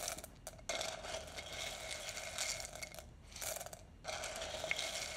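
A small wooden spoon is pushed into a large clear glass jar, held in one hand and about two-thirds full of roasted coffee beans, then scooped and stirred. The beans give a dense, bright rattling crunch as they knock against each other and the glass walls. The sound comes in continuous bursts with a few brief quieter gaps between them.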